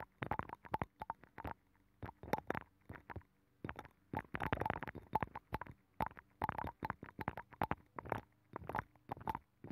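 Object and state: Abalone shell.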